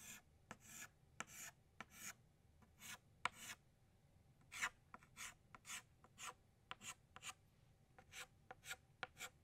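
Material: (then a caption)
Chalk. An orange chalk stick makes short radial tick strokes around a flower's center on a flat black chalkboard. Sixteen quick, dry, bright scratches sound one after another, each a brief rasp with almost no low end and no ring.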